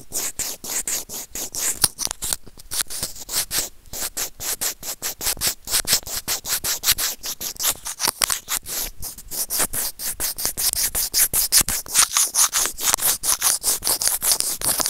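White plastic serrated tweezers rub and scratch a small hollow white plastic earphone remote/microphone. The result is a rapid run of short, dry scraping strokes with a bright, high hiss and almost no low end. The strokes come at an uneven pace and grow slightly louder toward the end.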